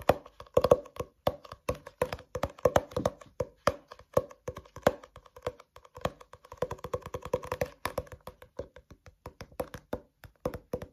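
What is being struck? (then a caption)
Paperback book with paper cover and pages. Fingertips and nails tap and scratch the white and pink printed cover and paper page edges of a solid paperback book, held upright and opened above a white desk. The result is a steady, rhythmic run of dense, dry taps with a hollow mid-pitched knock around 500 Hz, each one dying away almost instantly, with light papery scratching between them.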